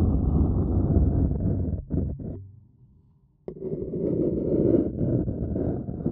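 A thin wooden stick scratches the rim of a printed white paper cup that is hollow and appears empty, making a dense, low, rustling scrape with little brightness. The scratching breaks into a few short strokes, fades to near silence for about a second, then starts again abruptly and continues steadily to the end.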